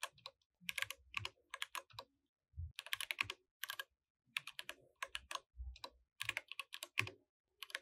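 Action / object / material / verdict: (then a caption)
tap / mechanical keyboard with plastic keycaps / plastic / none. Both hands type continuously with their fingertips on a compact mechanical keyboard with white, grey and orange plastic keycaps, while the mouse beside it stays untouched. Bright, crisp key clicks come in quick bursts separated by short pauses, with a soft low thud under some strokes and almost no ring after each press.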